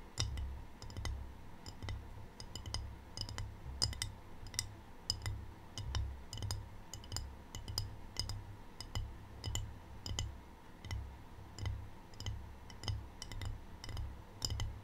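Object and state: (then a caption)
Ceramic tray. Long painted fingernails tap a small, empty rectangular white glazed ceramic tray with a black triangle print while it is held up. The result is a steady run of quick, bright, dry clicks that die away almost at once, over a constant low hum.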